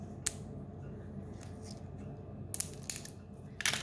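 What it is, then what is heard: Dry, crispy dehydrated sourdough starter. A dried sheet of sourdough starter, dehydrated on parchment at 95°, is broken and crushed by hand close to the microphone. Sharp, dry crackles and crunches stand out over a low background hum. The crisp snapping shows the starter is dry enough to crumble and store in a jar.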